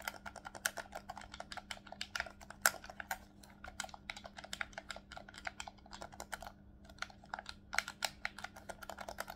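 Fingertips rapidly click the shoulder buttons and triggers of a hollow black plastic Nintendo Switch Pro controller held in both hands. The result is a fast, irregular stream of sharp, bright clicks that stop almost instantly, over a faint steady low hum.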